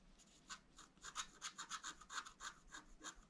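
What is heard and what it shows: A wooden stylus held in the fingers scratches the lines of a fountain picture into a black wax-coated scratch art sheet with a rainbow layer underneath, lying flat on a table. A quiet, quick, uneven series of short, dry scratching strokes is heard, each a brief bright rasp with a midrange edge and a high hiss, stopping sharply with no ring.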